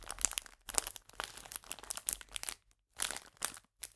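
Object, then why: Plastic biscuit bag. A full clear plastic biscuit bag is crinkled with fingers and nails and turned from upright to flat. It makes quiet, bright, crisp crackling bursts with brief silent gaps between them.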